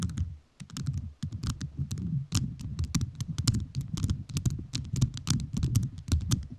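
A microphone fully covered in rhinestones is tapped with fingertips whose rhinestone-covered nails click against it. The result is a fast, steady stream of crisp, bright clicks over a low, thumpy body, with a brief pause near the start.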